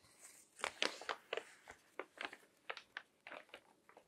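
Fingertips flip and crinkle the pages of a crinkled glossy paper magazine resting on a table. About a dozen quick, dry crackles come in bursts, bright and papery with almost no low end. Each crackle stops almost at once.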